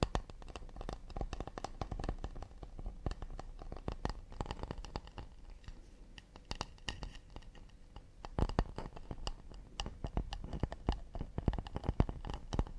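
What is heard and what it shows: Fingers rapidly tap and scratch an acacia wood plate. A dense stream of quick, dull knocks with very short ring is mixed with light scratching, heavy in low frequencies and quiet overall.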